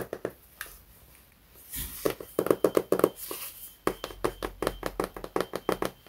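Fingertips and nails tap on the cover of a large, solid illustrated hardcover book, "Il grande libro della scienza," held upright in both hands. Quick, irregular bursts of short, dry, hollow taps die away almost instantly, with softer brushing passages in between.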